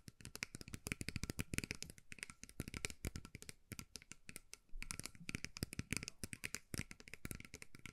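Long nails rapidly tap and scratch the beaded sides of a small, hollow metal mug covered in colourful beads and held in both hands. A dense, continuous stream of quick, bright clicks and rattly scratches, each dying away almost instantly, rises and falls in loudness, with a brief fuller stretch just before the five-second mark.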